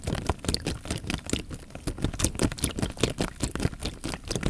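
A clear plastic bag full of water is held horizontally while fingertips squeeze and crinkle the film. A dense run of quick, dry crinkles and patters rides over low, soft sloshing of the water inside, each sound dying away almost at once.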